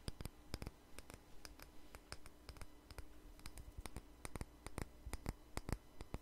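A small jar with a red label and lid, held in the hand, is tapped and scratched with fingernails. A quick, irregular series of short, sharp clicks with bright edges sounds over a quiet, steady low hum and soft scratching.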